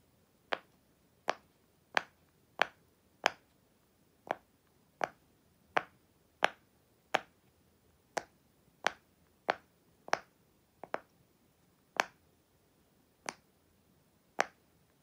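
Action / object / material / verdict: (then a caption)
tap / silicone push-pop fidget toy / silicone / none. A flat, hand-sized, unicorn-shaped silicone push-pop fidget toy in blue, purple and white, with hollow bubbles, lies on a black surface and is pressed with fingertips and long white acrylic nails. Nineteen sharp, dry pops come at a slightly uneven pace over the clip. Each pop is a quick, bright snap with almost no ring and nothing at the low end.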